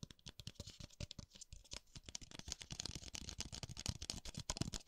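A small, white, hollow and empty disposable paper cup is held open end forward in one hand while the other hand's fingertips tap its rim and base, moving it between the right and left sides of the microphone. A rapid, steady stream of light, dry taps follows, each a short hollow thump with a crisp papery click that dies almost instantly.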